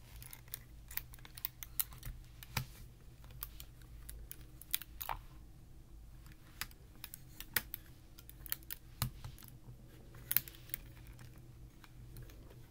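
Fingertips fold and flip the hinged panels of a large, flat Rubik's Magic-style folding puzzle, made of clear plastic tiles over printed rainbow-ring cards linked by strings and resting on a terry towel. The panels make a steady run of quick, sharp, bright clicks against each other that die away almost instantly, over a low, quiet background rumble.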